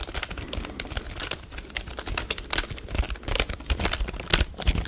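A full-size black plastic computer keyboard is held close to the microphone while fingertips tap and press its keys. The result is a rapid, dense stream of short, bright clicks over a soft low thump, with each tap dying away almost at once.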